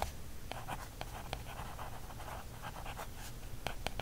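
A wooden stick is traced and scratched across the printed back cover of a small paperback field guide, thin card stock over a solid stack of pages. A soft, steady scratching runs under several sharp, dry taps that stop almost instantly, over a low background rumble.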